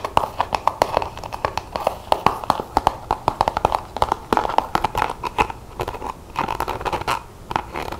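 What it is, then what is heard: Plastic paint tube. Long fingernails tap and scratch quickly along the body and hang tab of a plastic acrylic paint tube. The result is a dense run of short, dry clicks with almost no ring, centred around a hollow tone near 860 Hz, with light scratching between the taps.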